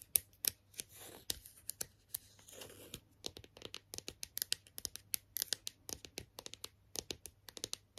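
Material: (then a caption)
Hard plastic. Long nails tap and scratch the front and back of a hollow, hard plastic strawberry toy figure. Dozens of quick, bright, dry clicks come in uneven bursts, broken by softer scratchy rasps, all at a quiet level.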